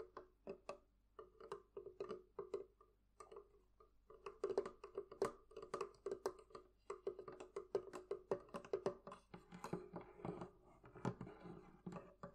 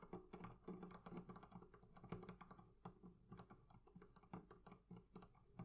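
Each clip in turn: First: Rapid fingertip and nail taps on a wooden chest, each a short dry knock around 390 Hz. Second: Quick, soft fingertip taps on leather: dull, muffled clicks that stop at once, over a faint low hum.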